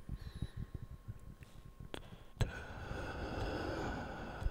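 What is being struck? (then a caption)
Round cork board. Fingertips scratch and rub the granular surface of a round, flat, solid cork board close to the microphone. Soft, low, uneven scratching taps fill the first half, and a couple of sharp clicks stand out. After that a steadier, brighter rubbing hiss carries to the end.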